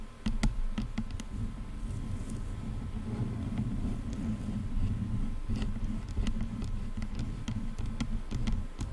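Long nails scratch and tap the top of a black plastic headphone headband. Sharp, bright clicks rise over a steady low rumbling scrape that runs the whole time.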